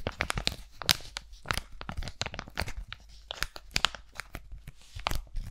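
Fingertips and nails crinkle and scratch a single flat, hand-sized aloe sheet-mask packet of laminated foil and plastic, held in both hands close in front of the mic. The result is a dense run of sharp, dry crackles and bright scratchy ticks with no ring, rising and falling in short bursts throughout.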